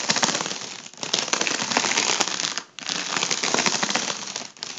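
A fingertip taps and scratches the taut foil of an inflated, hollow, air-filled tubular section of a gold mylar foil balloon. It makes a dense, bright crackling and crinkling rustle with sharp ticks throughout. The sound pauses briefly in three short dips before starting up again.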